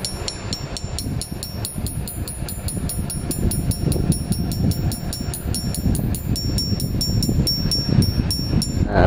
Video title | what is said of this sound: Review Gitar Gibson RM14 Ribu | Macam ni tak, bunyi dia alive, bunyi dia melantun-lantun kan.